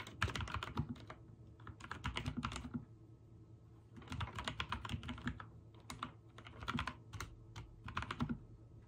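Fingertips of both hands type on a backlit full-size mechanical keyboard with white and dark teal plastic keycaps. Bursts of rapid key presses give bright clacks over a low, thocky body, separated by short pauses. A faint steady low hum runs underneath.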